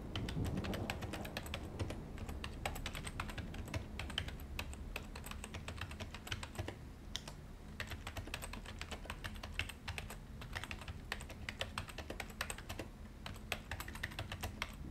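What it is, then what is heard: Plastic computer keyboard being typed on. A white full-size plastic desktop keyboard is typed on continuously with the fingertips of both hands, giving a steady stream of fast, short, bright key taps. A low steady rumble runs underneath the clicking throughout.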